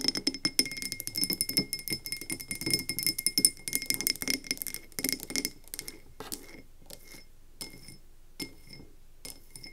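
A medium frosted glass candle tumbler filled with wax is tapped rapidly with long nails, first while it sits on a table and then after it is picked up. Quick, bright clinks with a faint ringing tone come in a dense flurry for the first half, then thin out to sparse, softer taps.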